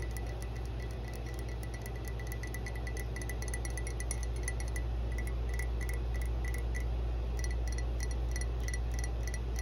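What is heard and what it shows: Long blue-painted nails tap and scratch across the side of a medium hollow matte green ceramic mug with a dark rubber-like base and a grey handle, held upright on a carpet. A quick, fairly steady run of light, bright clicks and high ticks plays over a constant low hum.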